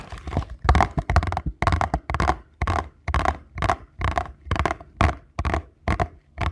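Fingernails and fingertips scratch and rub across the printed front of a small paperboard box held in both hands. Short, dry scraping bursts repeat in a loose, uneven rhythm, each with a dull, low papery body and a midrange rasp. Every stroke stops quickly with almost no ring.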